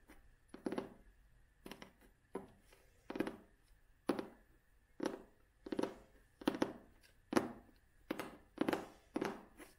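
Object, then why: Cloth-covered hardcover book. Long nails scratch across the cloth cover of a vintage hardcover book held in both hands. The result is a series of short, rasping scrapes, each with a soft low-mid body and a papery hiss, fading quickly into near silence between strokes.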